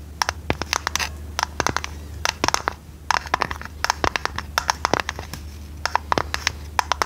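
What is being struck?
Small square metal tea tin.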